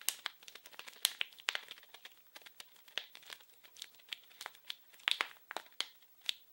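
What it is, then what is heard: Plastic film wrapper. A small, blue, printed plastic-film-wrapped package is crinkled and scratched with fingers. It gives a quiet, continuous run of sharp, bright crackles and crinkles. Each crackle stops almost instantly, with no low rumble underneath.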